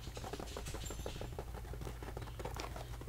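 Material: Canvas.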